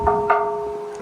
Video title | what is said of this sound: Hyrum and Logan Utah have awesome cemeteries 😎 | you can knock on it and it's actually metal I believe it's aluminum not 100% sure on that